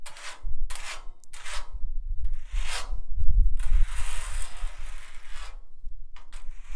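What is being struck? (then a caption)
Rusty steel drum. A nail worn on a finger scratches and taps across a rusty steel drum. Bright, rasping scrape strokes come in short bursts, building to one longer continuous scratch, with dull low thumps resonating from the drum underneath.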